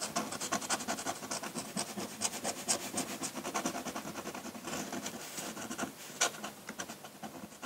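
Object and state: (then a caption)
Paper sheet scratched by a pen nib. A metal dip-pen nib scratches across a large, flat sheet of white drawing paper as it draws ink lines. Quick, irregular strokes make a dry, bright rasping sound with almost no low end. Each scrape stops sharply, with a slightly louder stroke near the end.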